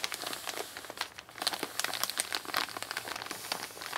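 An empty Amazon kraft-paper mailer lying flat on a wooden table is rubbed and crinkled by both hands with long nails. The result is a steady stream of dry, bright crinkles and crisp crackles with brief louder scrunches and no low end.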